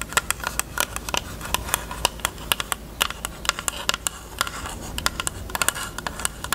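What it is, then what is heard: Hard plastic case. Long nails tap fast on the closed, hollow pink hard-plastic rectangular case with a cherry print, giving about 34 sharp, bright clicks with almost no ring. The taps sit over a faint, steady low hum.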